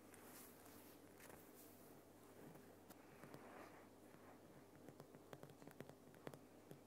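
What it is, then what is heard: Himalayan rock salt lamp. Fingernails of both hands rapidly scratch and tap the rough sides of a large, solid, lit Himalayan rock salt lamp. The sound is a quiet, continuous gritty scratching over a steady low hum, with sharper, brighter taps clicking out more distinctly toward the end.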